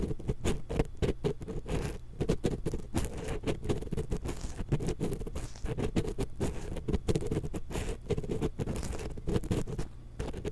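A thin wooden ear pick held in long-nailed fingers scratches the metal mesh capsule grille of a small, hollow X-Y stereo microphone. The result is a dense run of quick, dry scraping patters, low and close-sounding, with a steady buzzy tone.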